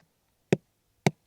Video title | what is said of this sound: สวนฟักทองพันไร่ ชายแดนใต้ [EP9] | วิธีการเลือกของมันคือดูที่เสียงให้เคาะ อันนี้มันจะแน่นๆ